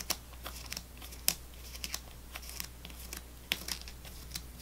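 A fingernail taps and scratches along the row of foil-wrapped sticks in a full plastic gum tray, making sharp, bright clicks and soft crinkly scrapes. Quiet, short ticks are scattered through the clip over a steady low hum.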